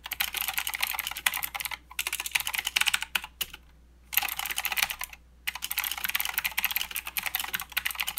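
Both hands type with their fingertips on a mechanical keyboard with plastic keycaps and blue switches. Bright, clicky keystrokes come in rapid bursts with short pauses between runs. Each click is sharp and dies away almost instantly.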